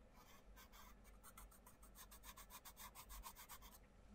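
A wooden coloured pencil scratches and rubs across the paper page of an open paperback colouring book in dense colouring strokes while the other hand presses the page flat. The clip is a quiet, steady run of rapid raspy back-and-forth strokes, each with a bright papery scratch over a soft low rumble.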